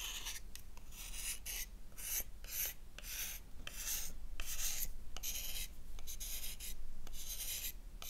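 A solid oval black bar of soap held in the palm is scraped with a gold metal knife blade, lifting white shavings. Repeated short, bright, raspy scraping strokes come in an uneven rhythm over a steady low hum.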